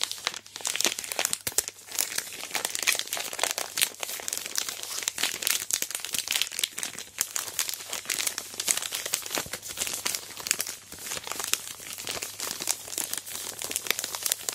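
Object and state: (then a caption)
Plastic-wrapped chocolate bar. A large family-size Aero Mint chocolate bar, still sealed in its crinkly plastic wrapper with the chocolate inside, is turned over, squeezed and gripped with long black-painted nails and fingertips. It makes dense, continuous bright crinkling and crackling with sharp snaps and no low end throughout.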